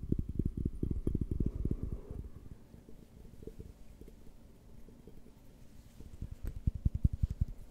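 Fingertips and nails tap and rub the faceted walls of a large, empty, clear glass beer mug with a handle, held hollow in front of the microphone. A quick run of close, low, thumpy taps gives way to quieter scratchy rubbing, then a fresh burst of dull taps near the end. The taps die away almost instantly with no ringing.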